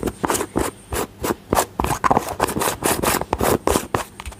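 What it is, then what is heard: Plastic cosmetic jar, tapped and rubbed. A small, round, hollow yellow-green plastic cream jar with a lid is held close to the mic and tapped and lightly rubbed on its lid and body with painted fingernails. Quick, uneven bursts of dry tapping and rubbing come about every quarter second, each with a short, bright scrape and almost no ring.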